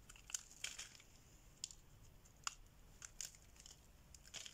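A solid oval orange bar of dry soap is held in the hand and carved with a metal blade, shaving off curls that break away. Quiet, dry, crisp scraping and crackling snaps come in scattered bursts, bright and high with almost no low end and no ring after each cut.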